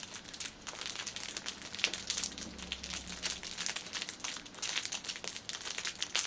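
Fingers squeeze and scratch the ends of the clear plastic film wrapping a six-pack of pocket tissues resting on a table. The result is a continuous bright, dry crinkling made of dense rapid crackles that swell and fade with each squeeze, with almost no low end. Each crackle stops instantly, with no ring.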